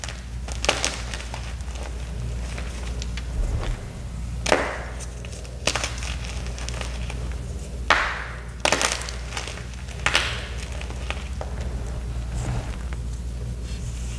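Small solid white gym chalk blocks coated in black powder are squeezed and crumbled by bare fingers and palms over loose crushed chalk. The result is a series of dry, crisp crunches and brief snaps, some bright and some duller, over a steady low hum.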